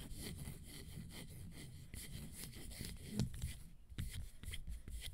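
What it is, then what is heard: Leather sandal tapped and scratched with nails. A single leather fringe high-heel sandal with teal straps, an orange panel, a gold fringe and a black sole is held up close to the microphone while long nails tap and scratch its straps and panel. Soft, dry scratching and rubbing mixes with occasional short, crisp taps over a quiet low rumble. The action is fairly sparse.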